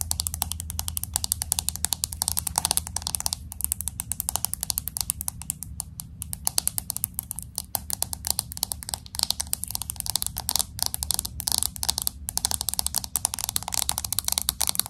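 Fingernails rapidly tap and scratch across the glass back and camera area of a pink smartphone with an aluminum frame. The result is a dense stream of sharp, bright clicks and scrapes with almost no ring, over a faint steady low hum.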